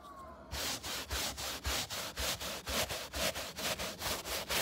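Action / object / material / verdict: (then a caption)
scrape / synthetic car floor carpet / synthetic fiber / none. A gloved hand rubs and scratches a scrub brush with a wooden-looking handle back and forth across the pile of grey synthetic-fiber carpet on a car floor by the open door sill. After a quiet start, steady rapid strokes produce bright, hissy scratching bursts with a soft low thump at each change of direction.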